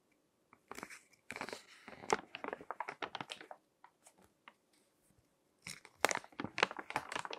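Fingertips turn and crinkle the thin text pages of a crinkled paper magazine resting on a table. Bursts of crisp, bright crackling and rustling come in irregular clusters, thin out to a few soft ticks in a quiet stretch near the middle, then return in a louder run of sharp crinkles at the end.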